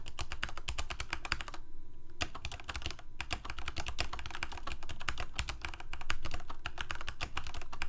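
Both hands type rapidly with their fingertips on a full-size black plastic Corsair K68 mechanical keyboard with Cherry MX Red switches and blue backlit keycaps, resting on a white desk. It produces a dense, steady stream of short clacking keystrokes with a low, thocky body, broken by a brief pause near two seconds before the typing resumes.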